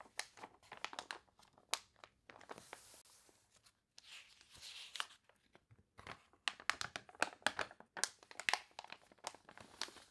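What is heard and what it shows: Long nails scratch, rub and lift the wavy, water-warped pages of a glossy paper toy catalog, crinkling the paper. Quick, bright, crackly snaps come in dense bursts, broken by softer, hissy stretches of rubbing along the page surface. Each crinkle dies away almost instantly.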